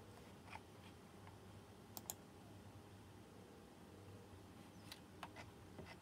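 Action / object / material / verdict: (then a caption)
tap / plastic mechanical keyboard with round metal-rimmed keycaps / plastic / none. Fingertips at the left edge of a white plastic mechanical keyboard with round chrome-rimmed keycaps press keys sparsely. Short, sharp, bright clicks come at scattered intervals and die away almost instantly. Beneath them sits a quiet, steady low background hum.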